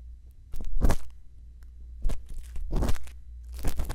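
A thin bamboo earpick, held in fingertips with long lilac nails, scratches and scrapes inside the ear canal and concha of a solid, soft white silicone ear model mounted on a round binaural microphone housing. Close, crunchy, crackling scrapes come in several short bursts over a steady low rumble, each dying away almost instantly.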